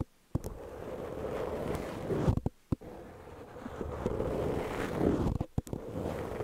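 Long peach-painted fingernails of both hands scratch a medium-size, soft, porous black foam windscreen over a microphone. The result is a steady, low, muffled rubbing rumble, broken by brief silent gaps and a few sharp pops and crackles.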